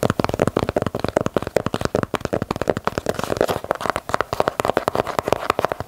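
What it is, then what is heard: Leather sneaker. Fingertips and long nails rapidly tap and scratch the leather side panels and swoosh of a hollow, empty black and white leather low-top Nike Dunk held in the hands. The result is a dense stream of short, dry, muffled taps centred in the mid range with scratchy rustling between them. Each tap dies instantly with no ring.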